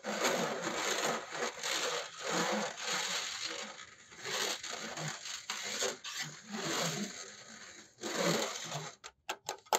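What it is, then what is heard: Metal mesh laptop cooling pad. Fingertips of both hands scratch and tap a large, flat black laptop cooling pad, held upright, with a single big fan under a perforated metal mesh top and a plastic frame. Bright, gritty rasping comes in uneven bursts separated by short pauses. It ends with a few sharp, isolated taps.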